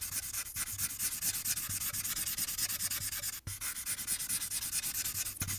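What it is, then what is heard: Paper coloring sheet. A marker tip rubs quickly back and forth along the right edge of a thin paper coloring sheet on a clipboard, with the other hand holding the sheet still. The result is a steady, bright, hissy scratching with a rhythmic swishing pulse. There is a brief pause just before the end.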